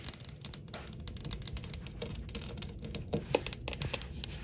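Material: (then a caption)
Ceramic. Long acrylic nails tap and click rapidly across a solid, flat wall of glossy white ceramic subway tiles with dark grout. A dense run of short, bright clicks with almost no ring sits over a soft low rumble, a few taps landing louder than the rest.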